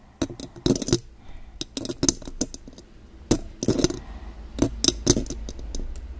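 Long gold claw nail extensions on both hands tap the silver metal mesh grille of a condenser microphone, making quick, bright, clicking taps in uneven bursts. Each tap is short and dry, with a steady low hum underneath.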